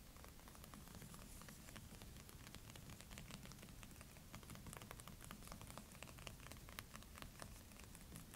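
Long painted fingernails and fingertips of both hands tap and scratch across the glossy printed board cover of a large hardcover "British Food" cookbook lying flat on a table. The result is a steady, soft scratchy rustle dotted with many quick, bright little clicks over a low, dull rumble.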